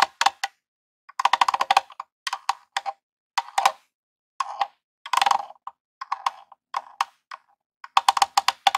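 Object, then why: Plastic game console casing. A long rhinestone nail taps rapidly on the front face and controller ports of a small grey hollow plastic Nintendo game console. The result is quick, dry, clicky bursts of tapping with a hollow midrange tone that stops almost instantly, separated by short pauses.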